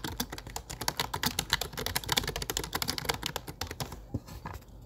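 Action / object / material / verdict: tap / plastic computer keyboard / plastic / none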